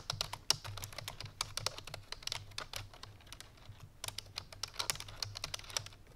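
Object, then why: Plastic computer keyboard. Fingertips with long painted nails rapidly press the keys of a full-size black plastic computer keyboard resting on a white fur rug. The result is a fast stream of short, bright, clicky taps with almost no ring, over a faint low hum.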